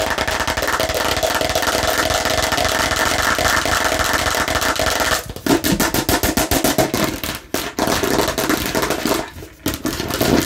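A plastic toy watermelon slice is scratched aggressively in a dense, continuous rasp for about five seconds. It then switches to rapid, sharp tapping, with clicky, bright hits that fall in quick, uneven bursts and brief pauses.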